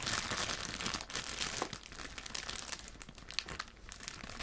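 A thin, clear cellophane bag holding homemade Christmas cookies is squeezed and crinkled with fingertips and moved around on a table. Dense, bright crackling and crinkling sounds run throughout, with brief sharp snaps and little low-end weight. The crinkling eases slightly in the second half.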